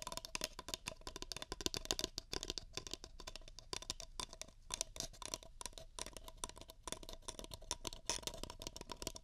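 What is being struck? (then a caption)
Paper cup. Fingertips rapidly tap and grip the walls of two empty, hollow paper cups held with their open ends toward a pair of microphone ears. A steady stream of quick, dry, papery taps and crinkles sounds bright and hollow, each dying away almost instantly.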